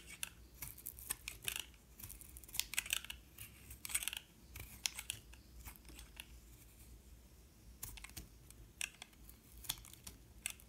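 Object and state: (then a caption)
Bar of soap being shaved with a blade. A metal utility knife blade shaves flakes off the surface of a solid white-and-yellow soap bar held in hand. Quiet, crisp, bright scraping and cutting ticks come in quick irregular bursts, each dying away almost instantly over a faint low hum.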